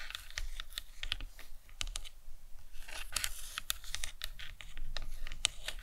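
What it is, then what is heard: Hollow plastic skull model. Long nails tap and scratch the top of the cranium of a hollow plastic anatomical skull model. Quick, dry, bright clicks arrive in an irregular stream, mixed with softer scratchy brushing. Each tap stops at once with no ring, over a faint low rumble.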